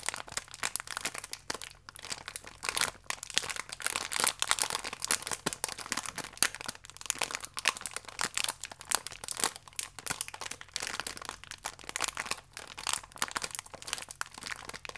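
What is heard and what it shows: Fingertips squeeze and rub a full, single-wrapped cereal biscuit in a thin plastic film pack. The result is a steady run of dense, bright crinkling and crackling for the whole clip, with short sharp snaps that die away almost instantly. There is almost no low end.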